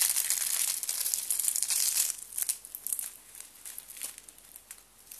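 Fingers with blue nails bend and break a stack of thin white dry soap sheets, and flakes fall away. A dense, bright crackle of snapping and crunching fills the first two seconds. It then thins into quieter, scattered crisp crunches.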